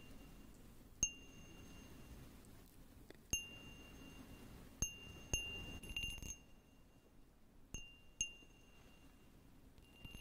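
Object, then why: Small patterned glass cup. A small, clear, patterned glass cup, hollow and empty, is tapped with fingernails close to the mic. There are eight separate taps, each a sharp click with a brief bright ring around 2.8 kHz. A low, steady background hiss runs underneath.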